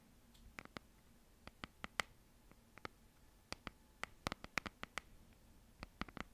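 Long nails tap and scratch the cardboard and paper cover of a red hardcover notebook held upright with both hands. About twenty short, dry, bright clicks land irregularly over a quiet background, with almost no ring after each one.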